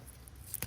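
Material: Plant.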